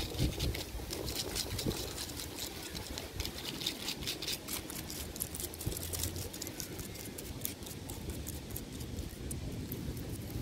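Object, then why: Tree trunk bark. Fingertips and nails of both hands scratch and tap the rough, ridged bark of a large, solid tree trunk. The result is a steady, dry scraping rustle with bright, crackly ticks over a soft low rumble, and occasional slightly louder taps stand out.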